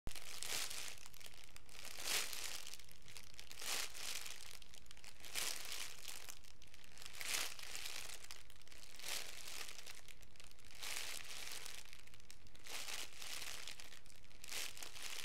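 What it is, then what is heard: Crinkling plastic cellophane wrap. A hand-sized, hollow and loose bundle of clear cellophane wrap, a crumpled sheet of thin transparent plastic film, is squeezed and crinkled close up by the bare fingertips of both hands. A continuous, bright, crackling crinkle rises into repeated louder surges of rustling. A steady low hum runs underneath throughout.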